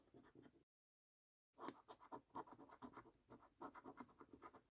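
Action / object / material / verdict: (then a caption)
scrape / paper scratch card with latex coating / paper / none. A coin edge scratches the latex coating off a paper £25 5x £1 Million Prize Portal National Lottery scratch card, making quick, dry scraping strokes. A few short strokes are followed by a brief silence, then a steady run of rhythmic, mid-pitched scratches with a slightly bright rasp.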